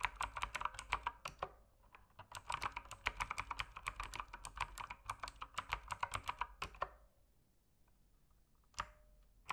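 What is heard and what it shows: Fingertips type on a mechanical keyboard with plastic keycaps, producing rapid, bright clicking and clacking keystrokes in two runs separated by a short pause. The longer second run fades into near silence, followed by one last isolated key clack near the end.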